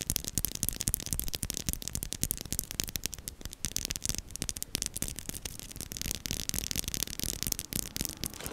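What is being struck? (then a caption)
Metal mesh microphone grille. Long nails tap rapidly and continuously on the small, hollow black metal mesh grille of a desktop microphone. Each tap is a dry, crisp click with a bright, hissy top and a soft low thump beneath, dying away almost instantly. The clicks pile into a dense, steady rattle that runs the length of the clip.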